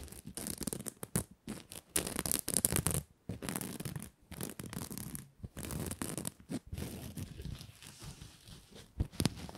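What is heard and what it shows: A red patterned fabric ribbon Christmas bow is held in both hands while nails scratch and fingers rub the fabric. The result is bursts of dry, brushy scratching and rubbing with a soft low rustle and a bright hiss on top, broken by brief pauses.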